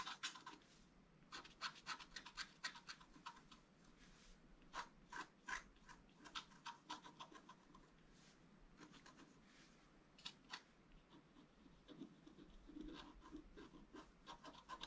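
A thin wooden stylus scratches a flat, black-coated scratch-art card resting on a cloth. Short, dry, raspy strokes come in irregular bursts with bright, hissy detail and a focus near 1.9 kHz, with a quieter stretch in the middle. Each stroke stops almost instantly, leaving no ring.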